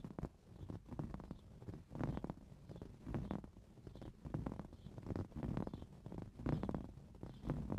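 Fingernails scratch a green coarse-weave fabric cushion, making soft, dull rasping strokes that come in uneven bursts. The sound is muffled and mostly low, with brief swells in level and little high-end brightness.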